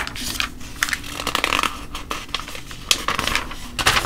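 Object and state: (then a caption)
Glossy paper booklet. A flat palm and fingertips rest on and rub across the printed pages of a thin, glossy paper coupon and ad booklet lying open on a table, with some page handling. Dry, bright rustling and scratchy swishes come in quick bursts over a faint low hum.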